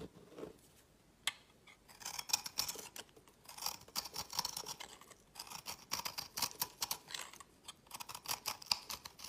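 A solid oval bar of mottled green soap, pressed from green scraps and held in the fingers, is shaved with a utility knife blade, giving off crumbly powder. Dry, bright scraping strokes come in quick bursts with short pauses, after a single sharp click early on, with almost no low end.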